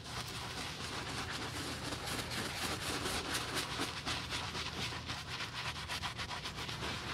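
A black leather men's lace-up UGG boot, hollow and held in a gloved hand, is scrubbed on the toe with a wooden-handled bristle brush through soap foam. Steady, bright, hissing brush strokes repeat about four times a second over a low hollow rumble. The scrubbing stays even throughout.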